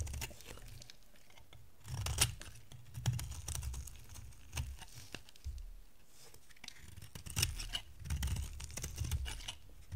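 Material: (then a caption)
Soap. A box-cutter blade scrapes and shaves an oval, solid yellow bar of dry soap. Crisp, papery scraping strokes come in irregular bursts with bright edges, over a soft low rumble, with louder passes around the 2-second and 7 to 8-second marks.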